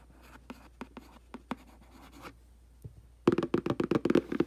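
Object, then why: Printed cardboard box. A thin black brush handle, held in the hand, scratches and rubs along the front face of a medium-sized, hollow, glossy printed cardboard aquarium box. Soft, scattered dry scratches come first, then a short quiet gap. After that, a burst of louder, rapid, papery scraping strokes follows with a hollow midrange body.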